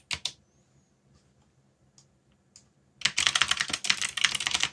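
Fingertips press the plastic keycaps of a backlit mechanical keyboard: a couple of quick clicks, then a few scattered, softer taps. After that comes a burst of fast, continuous typing. The clacks are bright and sharp, with almost no low end and very short decay.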